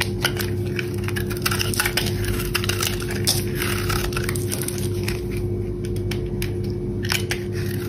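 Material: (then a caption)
Soap. A metal box-cutter blade scrapes shavings off the underside of a solid, dry brown bar of soap held in the hand, the bar already partly carved. The sound is a steady, dense crackling scrape dotted with sharp, bright crisp snaps, over a constant low hum.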